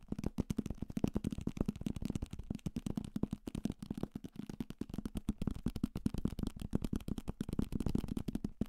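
A thick paperback copy of *Salem's Lot*, a solid paper block with a card cover, is held in the hand and rapidly tapped with fingertips and nails on its spine and page edges. The sound is a fast, continuous stream of dull, muted taps, low and woody around 200 Hz, each dying away almost instantly with no ring.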